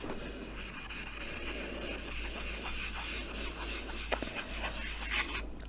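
A small hand-held blackboard in a light wooden frame, a flat solid board held upright in one hand, is wiped and rubbed with a small green eraser or sponge held in the fingertips. A steady, soft scratchy rubbing with a bright hiss runs over a low background rumble, broken near the end by a couple of brief sharper scuffs.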